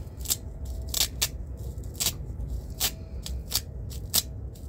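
A thin black nylon belt with six hook-and-loop velcro straps is held in both hands while fingertips press and peel the straps apart. This produces a series of short, bright ripping and scratching bursts over a steady low background rumble.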